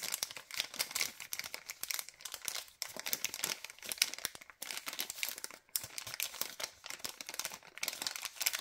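Fingers squeeze and crinkle a long, thin white LDPE plastic bag, printed with a suffocation warning and a PE-LD recycling mark, that holds a pack of cable ties. The result is dense, bright, crackly plastic crinkling with almost no low end, running steadily with brief pauses near 2.8, 4.6 and 5.6 seconds.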